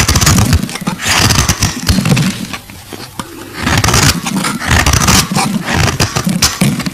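The edges of a solid, translucent purple glycerin soap bar are shaved with a metal box-cutter blade, making dense, gritty scraping with bright hiss and dull low thuds. The scraping runs in bursts, eases into a quieter stretch midway, then picks back up in strength.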